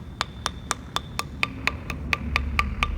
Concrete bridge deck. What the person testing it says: you're gonna hear some hollow spots. Hear that right there?